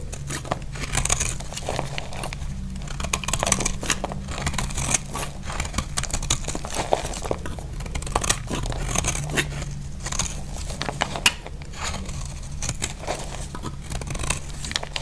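A utility blade scrapes across the face of a solid, dry lilac-purple soap bar, shaving off crumbly bits. Dense, rapid dry scraping and crackling with a bright, crisp edge runs throughout over a steady low hum.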